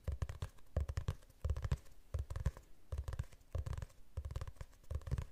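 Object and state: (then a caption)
Glossy hardcover book. Fingertips and nails tap and scratch the cover of a glossy hardcover book held in front of the face. Soft, deep, thumpy taps come in quick clusters with brief scratchy pauses between them, repeating at an uneven pace.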